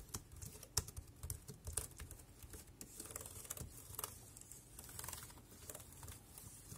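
Fingertips type on the keys of a dark grey plastic compact wireless keyboard. Quiet, rapid, irregular clicks and taps with a bright clatter over soft low thuds, each key press dying away almost instantly.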